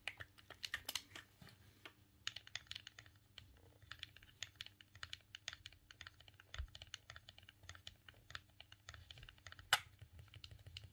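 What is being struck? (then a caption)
Plastic game controller. A silver, hollow plastic Nintendo GameCube controller is held in both hands over a cutting mat while the thumbs repeatedly press and click its buttons and joystick. The result is a quiet, irregular stream of many short, dry, bright clicks and taps with almost no ring. A faint low hum sits underneath, and one sharper, louder click stands out near the end.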